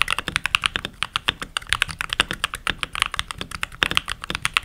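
Fingertips type continuously on a full-size backlit mechanical keyboard with pink plastic keycaps, the typist wearing rings and having short nails. The result is a quick run of crisp, bright plastic clicks and clacks, each dying away almost instantly, with very little low end.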